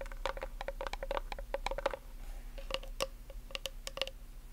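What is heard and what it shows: Long nails tap quickly on a plastic nail polish remover bottle and its blue cap, producing a rapid run of short, dry clicks with a light hollow ring. The taps come in quick bursts with brief gaps, each decaying almost instantly over a faint low hum.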